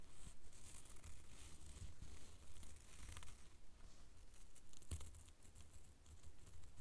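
A small, thin sheet of translucent blue plastic cellophane wrapper, like a lollipop wrapper, is held in both hands and crinkled and rubbed between the fingertips. It makes a steady, bright crackling and rustling with a few sharper crinkles, over a quiet low rumble.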